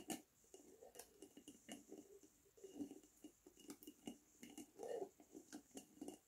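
A glass Lotus Biscoff spread jar with a red plastic lid is held tilted and tapped with fingernails on its glass body. A steady run of quick, light clinks comes through, each dying away almost at once, with a dull midrange tone near 450 Hz and faint bright ticks.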